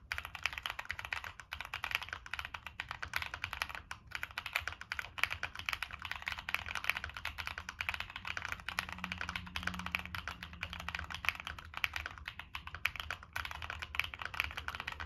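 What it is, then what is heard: Mechanical keyboard with plastic keycaps. Fingertips type steadily on a Monsgeek M1 mechanical keyboard with NK Cream switches, a dark metal case and purple and black plastic keycaps. The result is a dense, rapid stream of short, bright clacks that stop almost instantly, over a faint low hum.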